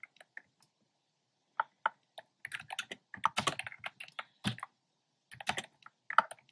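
Fingertips with short nails type on a black plastic keyboard with hollow, round retro-style plastic keycaps in cream, pink and red. The crisp, hollow clacks come in quick bursts separated by short pauses. Each click is dry and dies away almost instantly.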